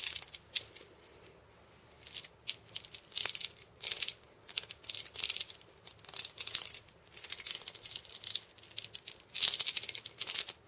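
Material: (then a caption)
Steel beads. Fingers and painted nails scratch and tap the steel bead chains wrapped around a hand-held wooden cabasa. The result is irregular bursts of bright, hissy metallic rattling separated by short quiet gaps, with almost no low end.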